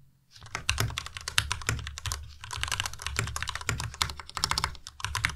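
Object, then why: Plastic mechanical keyboard with plastic keycaps. A white tenkeyless Ducky Miya Pro mechanical keyboard with plastic keycaps is typed on with the fingertips of both hands. Rapid, bright plastic key clacks with a low thock underneath run almost continuously after a short silent start, with only brief pauses. Each keystroke is short and dry, dying away almost at once.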